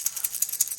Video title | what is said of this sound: Why The LIPLESS CRANKBAIT Is So DEADLY For Big Bass In The Fall!! | that is a ton of noise that's just a bunch of BB's in there that uh create a pretty pronounced rattle